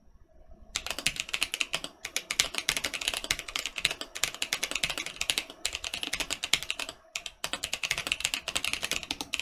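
Fingertips of both hands type rapidly on a Mercutio 40% mechanical keyboard with Boba U4T switches, a metal/acrylic case and red, purple and black plastic keycaps, lying flat on a printed mat. A dense stream of short, bright, clacking keystrokes with almost no low end is heard, each tap dying away almost instantly. There are brief pauses near 2 and 7 seconds.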